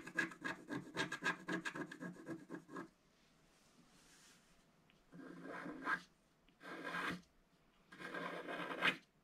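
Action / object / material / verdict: scrape / coated scratch-art paper scratched with a wooden stylus / coated paper / none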